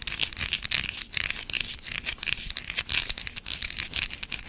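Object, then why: Bar of soap scratched with fingernails. Long black acrylic nails scratch a small, pale green solid bar of soap that is partly carved with grooves. The result is a dense run of quick, bright, crinkly scratches that rise and fall in short bursts, with almost no low-end body.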